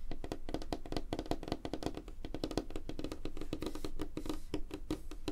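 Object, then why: Light wooden tabletop. Fingernails of both hands tap quickly and scratch lightly on a flat, solid, light wooden tabletop. The result is a dense stream of short, dry clicks with a hollow low body around 300 Hz and almost no ring. The taps run steadily throughout.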